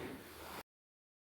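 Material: Nothing is struck.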